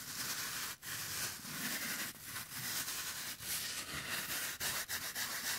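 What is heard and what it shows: A hand-sized rectangular block of green phenolic floral foam, solid and porous with a crumbled top edge and possibly moistened, is held close to the microphone and pressed, squeezed and scratched with latex-gloved fingertips. It makes a steady, bright, crackly rubbing hiss with little low end, broken by a few brief quiet gaps as the fingers shift.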